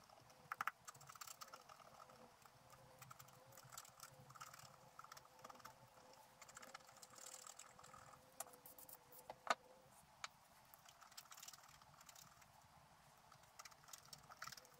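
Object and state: Scratch art paper being scratched.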